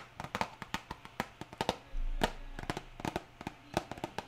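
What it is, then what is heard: Cardboard box tapped with nails. Long nails tap a small printed cardboard hair dye box held in one hand, making 21 quick, dry clicks with a short papery knock and almost no ring. Rain hisses softly in the background, swelling briefly into a louder low rush midway.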